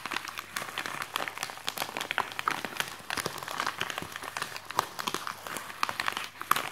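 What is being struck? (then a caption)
Polythene mailing bag. A white polythene mailing bag is worn over one forearm while the fingertips of the other hand tap and scratch quickly across the plastic. The result is a dense, continuous stream of crisp crinkles and sharp little ticks, bright and papery with almost no low end. Occasional louder snaps stand out from the rustle.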